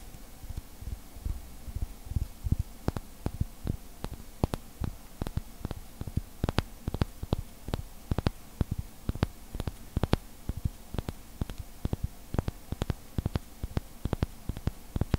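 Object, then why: Small glass bottle with glass stopper. Fingertips tap and rub a clear, hollow, seemingly empty glass bottle with a heart-shaped glass stopper set in a white collar, held close. Dozens of short, sharp clicks sound at an irregular pace over a steady low hum. Each tap is clipped and dry with almost no ring.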